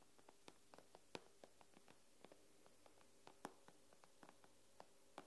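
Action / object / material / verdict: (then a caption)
tap / glass tablet screen / glass / none. Long nails tap on the glass screen of an iPad, making an irregular run of quick, crisp clicks of varying strength. Each tap is sharp and dry with a bright edge and dies away almost instantly over a faint steady hiss.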